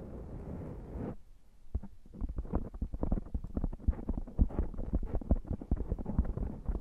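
Both hands rub a soft, porous black foam microphone windscreen with their fingertips and scratch it with short nails. A steady, muffled brushing hiss fills the first second, then gives way to dense, irregular scratching and soft thuds. The sound is heavy in low, boomy tones with almost no high end.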